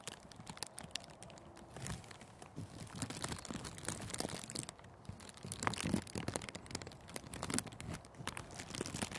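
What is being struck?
Thin clear plastic cellophane sheet.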